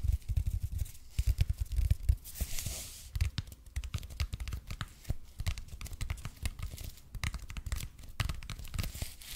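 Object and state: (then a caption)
EPP foam roller. Fingernails scratch the surface of a red and white speckled expanded polypropylene (EPP) foam roller held in both hands. The result is a dense, steady run of dry scratching and crinkly crackles, with soft low thumps underneath and brief bright clicks that stop dead with almost no ring.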